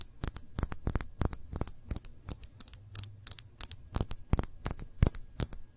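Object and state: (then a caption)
Full glass jam jar. Fingernail tips tap and scratch the bare glass body and bottom of a full glass jam jar held on its side. Quick, irregular clusters of short, bright clicking taps with almost no ring, plus light scratching, carry a faint low thump beneath.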